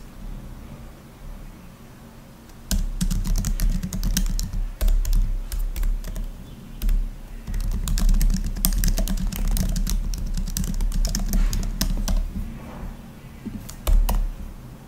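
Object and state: Laptop keyboard with plastic keys.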